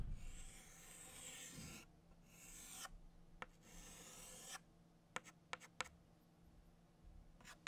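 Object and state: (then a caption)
Chalk scraping on a chalkboard. A stick of orange chalk held in the fingers traces circles on a flat black chalkboard, making long, bright, raspy scratching strokes in bursts. These give way to several short, sharp chalk ticks and light strokes over a low, steady background hum.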